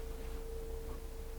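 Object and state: Nothing is struck.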